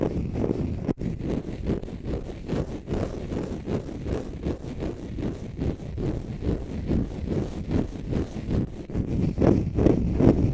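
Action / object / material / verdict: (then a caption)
scrape / dry konjac fibre sponge / konjac fibre / none. A small, dry, green konjac fibre sponge, soft and porous and held in both hands, is scratched and rubbed close to the mic with fingertips and short nails. The result is a dense, continuous, muffled scraping with a heavy low rumble and little brightness, pulsing in quick uneven strokes that swell louder toward the end.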